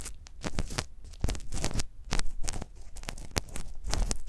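A gloved hand scrapes inside the canal of a life-size hollow silicone ear model on a stand, with a microphone inside, using a metal ear pick on a pale handle. Close, crackling scrapes and sharp bright clicks come in quick bursts over a deep, muffled low rumble, with short dry decays and no speech.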